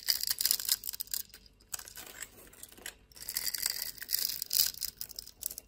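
A blade scrapes scored cubes off the surface of a solid brown soap bar held in the hand. The result is dry, bright, crackling scrapes with almost no low end, in two loud bursts separated by a quieter stretch in the middle.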